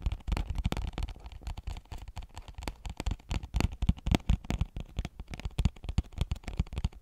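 Long nails tap rapidly and irregularly, about four times a second, on a small, flat cardboard phone case retail box with a clear plastic window, held close to the mic. Each tap is a short, dull, low thud with little brightness and no ring, giving a dense, uneven patter.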